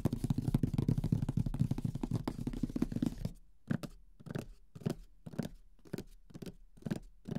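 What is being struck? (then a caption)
Closed cardboard board game box. The fingertips of both hands drum on the lid of a large, closed, printed Mysterium cardboard board game box, which is hollow. A dense, rapid flurry of soft, hollow, low thuds fills the first three seconds. It then thins into separate, slower taps with short pauses between them.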